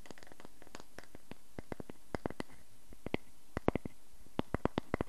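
A solid round wooden log slice is held in the hands while fingernails scratch and tap along its bark edge and ring face. Quick, dry clicks and scrapes come in a steady scattered run over low background hiss, the crisp taps ending almost instantly.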